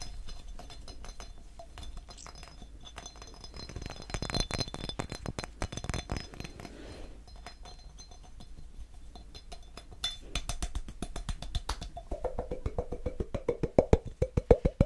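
A hollow, empty red glazed ceramic coffee mug with a handle and a round emblem is tapped quickly all over its body with long painted fingernails and fingertips, held close. Rapid, irregular clicks and clinks with very short ring build into denser, louder bursts, with a faint tone near 500 Hz in the final seconds.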